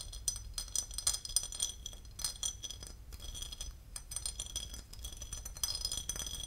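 A porcelain lid is tapped and scratched, giving a rapid run of bright, short ceramic clinks and scraping ticks that die away almost instantly. A steady low hum sits faintly underneath.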